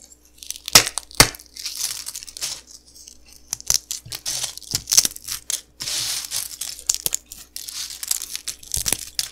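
Small, hollow, dry golden puffed cereal pillows on a tiled table are crushed and broken one at a time between painted-nail fingertips over a pile of crumbled fragments. Sharp, bright, dry crackles and snaps come in irregular bursts, each dying away almost instantly, with softer crinkling between them.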